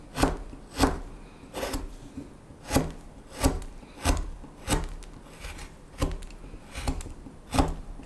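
A small knife blade carves a solid, light wooden spoon blank whose bowl end is held in taped fingers. It makes a series of dry, irregular scraping and cutting strokes, each a short rasping burst with a low woody thump underneath.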